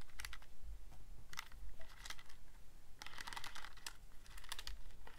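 Fingertips press and click the rubbery plastic keys of a handheld Casio scientific calculator with a black plastic body. Quick bursts of soft, dry, bright clicks come in uneven clusters with short pauses between them, over a steady low hum. Each tap dies away almost at once.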